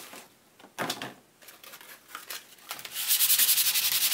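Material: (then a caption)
Cardboard. A hand rubs a sanding block across a thick printed children's board book with glossy, laminated cardboard pages, solid and flat, lying on brown paper. A few separate scratchy swipes come first, then a fast, steady back-and-forth rasp. The sound is bright and hissy with almost no low end.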